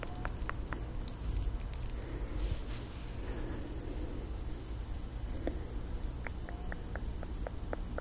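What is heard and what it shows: A slim, partly filled glass rollerball perfume vial with a metal cap, held horizontally in both hands, is tapped with long nails. Short, bright ticks sound in quick, irregular bursts over a steady low hum, with a few scratchy passes in between.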